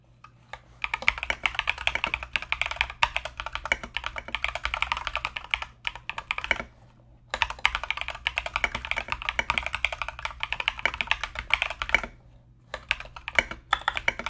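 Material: Plastic.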